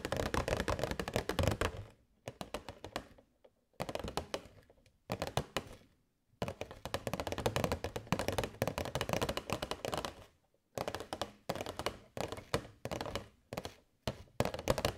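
A hollow, transparent plastic box holding LED fairy lights is held in both hands and tapped with long nails. It gives rapid bursts of dry, clicky taps with a hollow, mid-pitched thunk and no ring. The bursts are separated by brief silent pauses.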